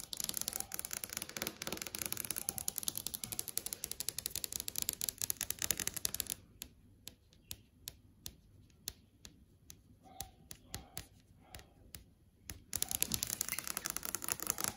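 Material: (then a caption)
Plastic. Multiple long acrylic nails tap quickly on the panel of a large flat LCD TV screen, making dense, bright, dry clicks. The rapid tapping thins to sparse, separate taps in the middle stretch, then returns to a fast flurry at the end.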